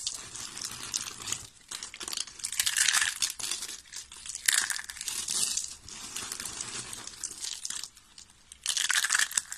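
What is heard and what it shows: White, translucent dry soap curls, thin hollow rolled strips, are squeezed and crushed by the fingers of both hands. Bright, dry crinkling and crunching comes in dense bursts, with brief near-silent pauses near 1.7 and 8 seconds. The sound has no low end and stops instantly with no ring.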